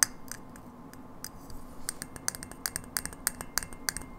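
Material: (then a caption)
Glass. Long nails tap a hollow frosted glass light bulb with a metal base, striking both the glass and the area near the base. About 15 short, dry, bright clicks sound with almost no ring, sparse at first and then quicker and more clustered over a quiet, faint background hiss.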